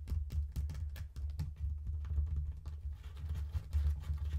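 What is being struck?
Faux leather wallet phone case.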